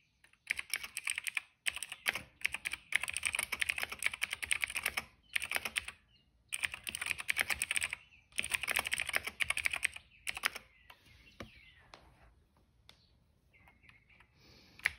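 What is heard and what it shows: Fingertips type rapidly across a cream plastic mechanical keyboard with black and purple keycaps. Dense bursts of bright, crisp clacks are separated by short pauses, then thin out into a few scattered, quieter taps toward the end.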